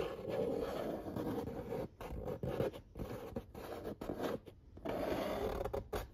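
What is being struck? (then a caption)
Corrugated cardboard pizza box lid. Fingertips and nails trace and scratch the printed illustration on the lid of a large, flat corrugated cardboard pizza box. Steady, dry scratching and rubbing sits mostly in the low-mid range, broken by a few short pauses between strokes.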